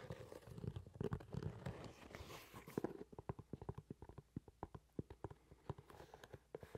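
A brown leather shoe is held upright close to the mic while long nails scratch along its leather side and sole for about three seconds. The nails then switch to a steady run of quick, dull taps that carry on to the end. The sound is quiet and soft, with most of its energy low and almost nothing bright.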